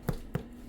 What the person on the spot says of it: okay it sounds Hollow that's the way it's supposed to sound